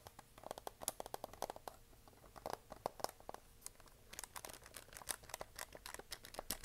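A plastic desk calculator is turned in the hands while long nails tap and scratch its keys and hollow plastic back. The result is a quiet, irregular run of short, dry clicks and light scratches with a hollow midrange tone and almost no ring.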